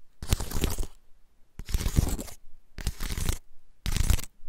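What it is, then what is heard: Dry pine cone. A large, dry, woody pine cone with open scales is held in both hands while fingertips and nails scratch and rub along its scales. Four separate bursts of dry, crackling scratching are heard, each about half a second to a second long with short quiet gaps between them. The bursts carry a crisp, bright rasp over a low rumble of handling.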